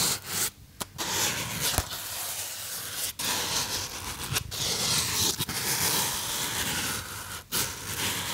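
Fingertips rub the sides of a small white polystyrene foam box held close, with taps on its surface, making a steady bright, dry scratching and squeaking texture. The rubbing runs almost continuously, broken by a few brief silent gaps.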